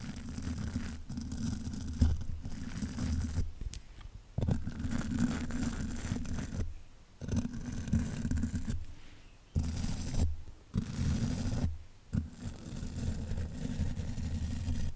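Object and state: Spoolie brush scraped on a metal microphone grille.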